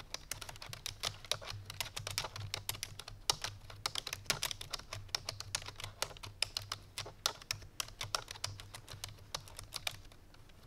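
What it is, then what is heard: Plastic computer keyboard being typed on. Fingertips with painted nails on both hands type rapidly on a full-size black plastic computer keyboard resting on a white fur rug. Quick, bright, dry key clicks patter continuously with almost no ring, over a faint low hum, and the typing eases off near the end.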